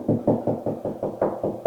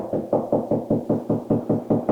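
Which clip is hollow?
The second.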